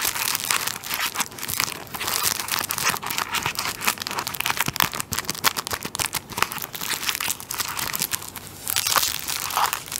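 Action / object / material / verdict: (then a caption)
scrape / tissue paper roll in thin plastic wrap / plastic film / none. Fingertips and nails scratch and press the thin plastic film on the top end of a large tissue paper roll held in hand. It makes continuous, dense, bright crinkling and crackling with many sharp little snaps and almost no low end. The activity stays steady throughout, with slightly louder bursts of crinkle near the end.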